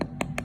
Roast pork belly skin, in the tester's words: should be able to hear that hollow sound that means you struck the jackpot